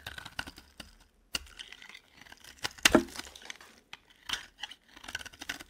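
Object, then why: Bar of soap scraped with a metal blade. A metal blade repeatedly scrapes and carves shavings from the corner of a solid, cream-coloured dry bar of soap held in the hand. Short, dry, crisp scraping and crackling bursts with a bright, gritty edge are separated by brief quiet gaps, and one louder crunch comes near the middle. Each stroke ends abruptly with almost no ring.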